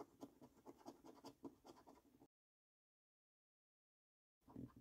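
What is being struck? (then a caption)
Paper scratch card with latex coating. A coin scratches the latex coating over the symbols area of a flat, thin cardboard £15 "5x £300,000 Luxury Lines" National Lottery scratch card held down by fingertips. A quick series of soft, dry, gritty strokes lasts about two seconds, then silence, then a final short burst of scratching.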